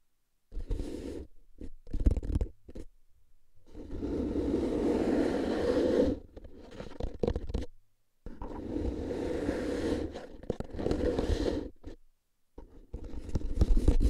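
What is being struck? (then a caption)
Paper-wrapped cardboard tube canister. A tall, hollow cardboard chip-style canister with a metal rim and plastic lid, wrapped in a handwritten paper label, is held in both hands and tapped and scratched on the side with fingertips and short nails. The result is bursts of dry, hollow scratching and low, resonant rumbling, with longer sustained scraping stretches separated by brief silences.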